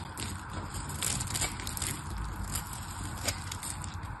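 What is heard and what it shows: A black knife blade carves a solid pink bar of soap, held in a hand with long painted nails, cutting off crumbly chunks. A steady, crunchy scraping with a low rumble and bright crackling runs throughout, with one sharper click near the end.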